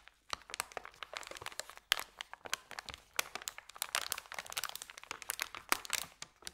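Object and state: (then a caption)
Paper bag being crinkled. Fingers roll and fold a thin, empty white paper sandwich bag from the end, crinkling it. The result is a continuous run of sharp, dry crackles and crunches, bright and high with almost no low end. Occasional louder snaps stand out near the two-second and six-second marks.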